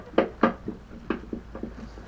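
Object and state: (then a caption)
Loose part rattling inside mobility scooter steering. Moving a mobility scooter's steering column produces seven short, dull clacks, each rattling briefly around 230 Hz and fading fast. Something loose inside the steering rattles badly while the tiller itself stays tight; the cause is suspected to be a loose plastic mounting tab on the front-light relay, but this is unconfirmed.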